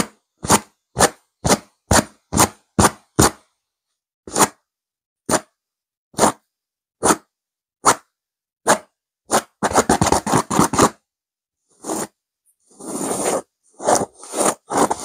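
Long nails scratch and grip the sides of a stuffed pillow with a purple velvet cover and a silver diamond pattern. Short, sharp, bright scratching strokes come in a quick regular run, then spread out, before turning into a dense flurry of rapid scratches. Longer rasping rubs follow, with a few crisp strokes at the end.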